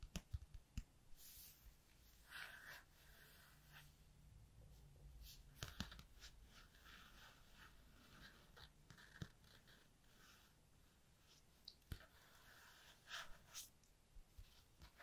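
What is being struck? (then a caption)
Cardstock flashcard rubbed with a capped pen. A capped black pen is traced over the letter Ff on a small, thin, flat white cardstock alphabet flashcard held in the hands, scratching and rubbing the paper surface. Soft, bright scratching strokes come in bursts over a quiet low rumble, with a few sharp taps standing out.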